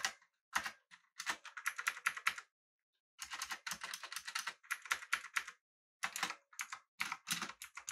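Both hands type with their fingertips on a full-size backlit, typewriter-style mechanical keyboard with an aluminum body and round plastic keycaps. Quick, bright, clicky keystrokes come in rapid bursts separated by short pauses, and each click dies away almost instantly.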